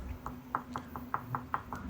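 A series of eight quick, dry knocks on an interior wall, tested before mounting shelf brackets to judge what is behind it. Each knock is short and mid-pitched, dying away almost at once over a faint steady hum. This spot sounds solid.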